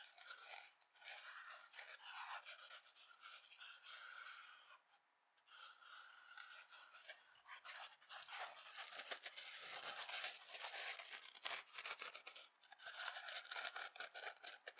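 A dry yellow and black foam kitchen sponge with an abrasive scouring pad is held in the hand over an empty glass bowl, squeezed and scratched with long nails. Quiet, bright, crackly scratching and rustling comes in irregular bursts, with a brief lull around five seconds. After that the scratching grows louder and denser toward the end.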